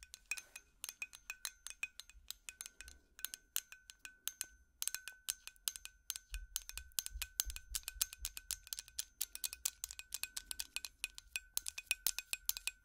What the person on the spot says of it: 6:37 tapping on light bulb